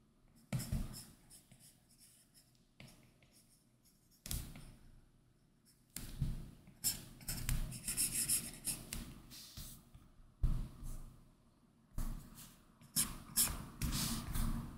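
A hard plastic Apple Pencil tip makes repeated short line strokes across a large iPad Pro lying flat, its glass screen covered with a matte textured Paperlike plastic film. Each stroke is a dry, scratchy rasp with a bright hiss and a soft low tap as the tip lands. The strokes come in quick bursts separated by brief quiet pauses.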